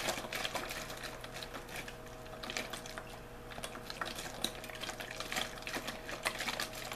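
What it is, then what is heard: Plastic water bottle being crinkled. Hands squeeze, crinkle and shake an empty, hollow-looking clear thin plastic water bottle with a blue label. Irregular bright crackles and snaps come in quick clusters over a faint steady low hum, with sharper pops standing out now and then.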